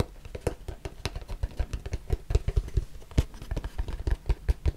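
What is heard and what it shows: A small white cardboard box, hollow and closed, is tapped and rubbed with the fingertips close to the mic. A rapid, uneven run of soft, dull thumps with deep low body dies away almost at once, mixed with faint papery scratching between the taps.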